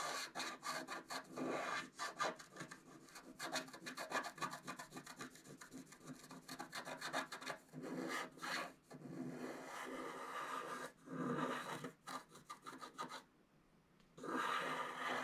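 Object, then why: Scratch art card, black-coated paper over foil, scraped with wooden stylus. A wooden stylus rubs and scratches the black coating on the left side and bottom of a flat scratch art card, black-coated paper over metallic foil, held flat by the other hand. The sound is a fast, irregular run of dry, raspy scratches with bright, papery hiss. It pauses briefly near the end before a final longer stroke.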